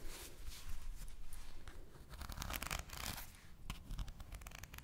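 A full deck of thin, coated paper playing cards is held in both hands while fingertips with long nails fan and riffle them, flicking the cards against each other. Quiet, bright, crisp papery flicks and ruffling bursts come and go over a steady low rumble.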